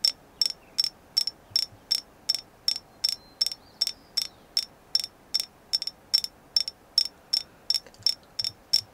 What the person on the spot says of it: I love this moon goddess. It's an agate, and I love the way it sounds.